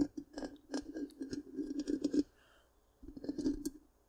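Long pink-painted nails scratch the hollow black round metal mesh grille of a large microphone, making dense raspy scratches and quick clicks over a hollow, resonant tone near 290 Hz with bright high flecks. The scratching runs for about two seconds, pauses into near silence, then resumes briefly before fading out.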